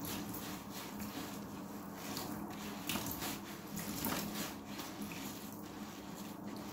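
A large, rectangular yellow synthetic foam sponge, soft, porous and soaked with water, is held in one hand and rubbed with a pink Dove bar soap held in the other, inside a clear plastic tub. The result is a steady stream of wet, squishy rubbing and foamy crackle, with bright swishes rising and falling over a constant low hum.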